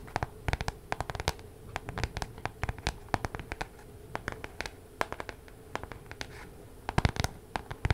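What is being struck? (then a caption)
Spiral-bound paper planner with card cover. Long nails scratch and tap the card cover of a spiral-bound paper weekly planner close to the microphone. Quick, sharp clicks and dry scratches come in irregular bursts over a faint steady background hum, with a louder cluster of taps near the end.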